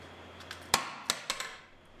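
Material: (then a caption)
Tempered glass. A 500 g ball, striking with hammer-like force, is dropped onto a pane of chemically strengthened (tempered) glass, making five sharp, bright clacks with a brief ring. The glass withstands the impacts and does not break.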